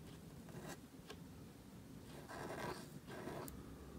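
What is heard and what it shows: A gold calligraphy marker nib scratches across a thin, solid, flat sheet of black cardstock, a photocard filler lying flat on a table and held down by fingertips, while writing. Soft, dry scratching strokes come in short bursts, with two longer, louder passes near the end and a bright, airy edge to the scrape.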